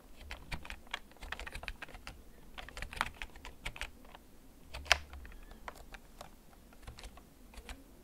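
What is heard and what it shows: Fingertips press the keys of a full-size black plastic backlit mechanical gaming keyboard with a hollow case, held and tilted. Slow, irregular typing produces short, sharp clicks with bright, clacky tops and a light hollow thump beneath, each dying away almost instantly. One stroke near the five-second mark lands noticeably harder than the rest.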